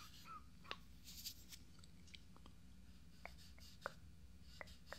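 Fingertips tap and scratch around the eye area of a life-size hollow fiberglass binaural dummy head microphone with makeup on its face. Sharp, dry little taps sit over soft scratching and a low steady hum, each tap dying away almost instantly.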